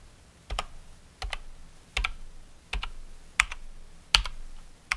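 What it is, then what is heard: Plastic mechanical keyboard. A fingertip presses single keys one at a time on a COX Dauntless mechanical keyboard with Cherry MX Brown switches and plastic keycaps. Seven separate keystrokes come at an unhurried, uneven pace, each a bright, sharp double click with a short low thump, before the hand moves away at the end.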